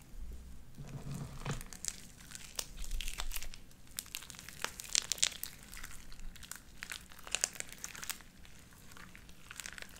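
Light-blue sticky slime with white beads is pressed between flat palms and pulled apart into strings. It gives a dense run of sharp, bright crackles and sticky pops over a soft low rumble, with louder snaps near the middle of the clip.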